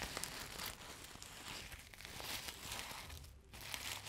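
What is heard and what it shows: Long nails scratch and rub the sequins of a flat, multicolour sequin fabric pouch, soft and hollow, held close to the mic. The result is a steady, bright, crinkly rasp with sharp little clicks, briefly easing just before the two-second mark and again around three and a half seconds before picking back up.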